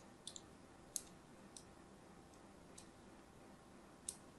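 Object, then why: Bar of soap scored with a thin blade. A thin blade scores lines into the surface of a solid, palm-sized pink-and-white striped soap bar held in the hand, making six short, bright clicking scratches at irregular intervals. Each cut ends almost instantly with no ring, over a quiet, steady low background hiss.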